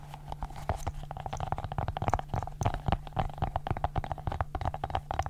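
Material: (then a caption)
Silicone. A multicolored silicone pop-it fidget ball is held in one hand while long nails pop and tap its bubbles. Quick, uneven little pops and clicks follow one another steadily, each with a short hollow tone over a soft low thump and almost no ring.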